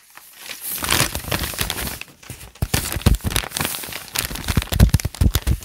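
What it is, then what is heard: Paper notebook pages being crinkled. Fingertips scratch and crinkle the wrinkled pages of a thick open notebook with lined white paper, lifting and crumpling some of the pages. The result is a dense, irregular run of crackling and crinkling bursts with bright papery rustle over dull low thumps, growing louder and more broken up in the second half.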